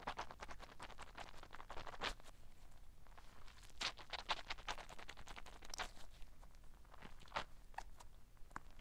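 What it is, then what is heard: Rubber squishy ball. A soft, fist-sized green squishy stress ball with black spots and a filled interior is held in one hand, squeezed and scratched with long black nails. Quiet, rapid scratching and crackly rubbery squishing follow one another continuously, with a few slightly louder bright scrapes standing out.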